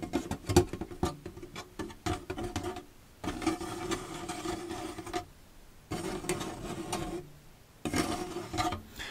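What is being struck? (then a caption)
Plastic storage box. Fingertips rub and scratch the surfaces of an empty, hollow plastic storage box with a white slotted end as it is held and tilted. Short, spiky scratches in the first three seconds give way to three longer stretches of steady scraping, with a hollow resonance around 355 Hz beneath the hiss.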